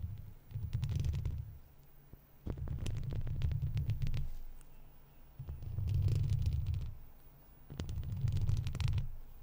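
Long pointed plastic fake nails with red-tipped finger caps, worn on both hands, scratch and tap the hollow wire-mesh metal grille of a large silver microphone. The result is close, low rumbling swells that rise and fade in four waves, with quick ticking taps layered on top.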